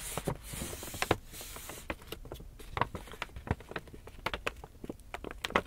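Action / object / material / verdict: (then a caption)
scrape / paper shopping bag / paper / none. Fingertips scratch and rub the face of an empty black Lush paper shopping bag held upright, its hollow body adding a papery resonance. A bright, hissing rub fills the first two seconds, then gives way to a run of short, dry scratches and crisp ticks over a quiet papery texture.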